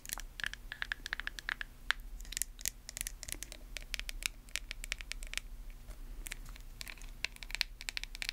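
Long nails tap and scratch the lid and sides of a small white plastic face mask jar. The result is a quick, uneven run of crisp, bright clicks with dry scratchy rasps between them, each tap dying away instantly. A faint low hum sits underneath throughout.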